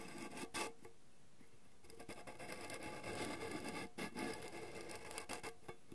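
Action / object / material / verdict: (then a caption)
scrape / small round metal tin / metal / none. Fingernails scratch and tap the lid and side wall of a round, hollow gold metal candy tin as it is turned in the hands. Quiet, dry scratching and rubbing runs throughout, broken by brighter, sharper taps that give off a short hollow metallic ring.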